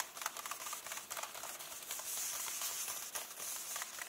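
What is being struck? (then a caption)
Paper book pages. Fingertips and nails rub and tap the paper pages of an open hardcover book lying on the same illustrated spread. The result is a quiet, steady, bright papery scratching and crinkling with light, irregular taps and almost no low end.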